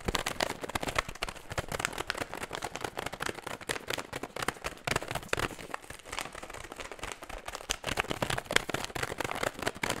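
An empty metallized plastic foil snack bag is crumpled and scratched with fingertips, held close and raised up. It gives dense, bright crinkling and sharp crackles for the whole clip, with many quick snaps that die away almost instantly.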